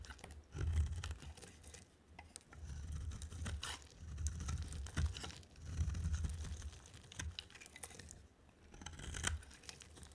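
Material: Soap.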